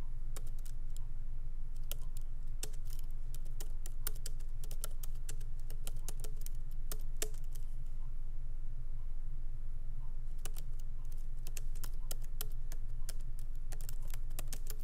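Fingertips of both hands lightly tap the black plastic keycaps of a MacBook Pro keyboard set in an aluminum body on a wooden desk. Quick, uneven bursts of soft key clicks ride over a steady low hum, pausing briefly near the middle before the typing resumes.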